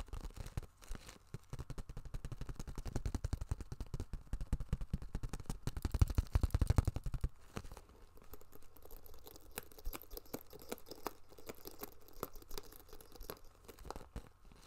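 Long nails tap and scratch the crinkly surface of a small iridescent holographic plastic pouch with a zipper as it is held up and turned in the hand. Dense, rapid, uneven crinkling taps build to their loudest around six to seven seconds, then drop to softer, sparser taps and scratches for the rest of the clip.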